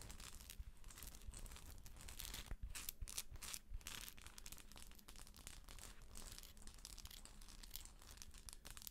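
Long acrylic nails scratch and tap the shell of a hollow plastic galaxy moon lamp as it is held and then brought close. The result is a quiet, steady stream of dry, crinkly scratching with bright bursts and short, clicky taps over a low hum.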